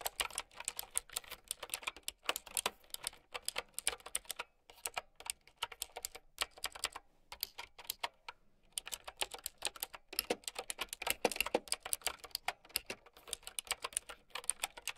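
Fast typing with long nails on a plastic mechanical keyboard with round keycaps. Rapid, bright, clicky taps with almost no low end, each dying away almost at once. The typing pauses briefly around the five-second mark and again between about seven and eight and a half seconds.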